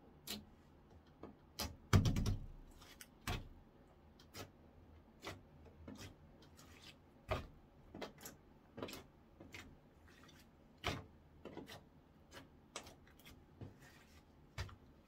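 An orange clear slime blob is pressed flat and poked with fingertips on a wooden counter. It makes 23 short, irregularly spaced sticky clicks and pops, mostly low and dull with brief bright edges. The loudest, heavier squelch comes near the start.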